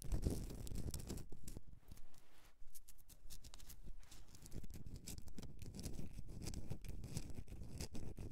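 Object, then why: Rock salt candle holder. Long dark-painted nails scratch a hand-sized, rough, pink-white Himalayan rock salt candle holder, a solid block with a hollow cavity, resting on a fur rug. The dense, irregular scratching and scraping comes in quick, short bursts that carry a heavy low rumble and die away at once.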